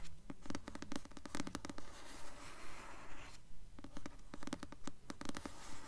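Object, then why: Paperback book with glossy paper cover. Long nails slowly scratch the glossy paper cover of the blue paperback novel "Delirium," a solid book held upright. Quiet, steady rasping strokes repeat at an even pace, each a dry scratch with crisp bright ticks over a soft low rumble, with a brief pause midway.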